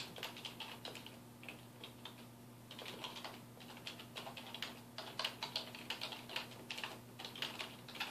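Fingertips type quickly on a dark plastic desktop keyboard resting on a wooden desk. The result is a fast, uneven stream of bright, short plastic key clicks with almost no ring, centered around 2.9 kHz, over a faint steady low hum.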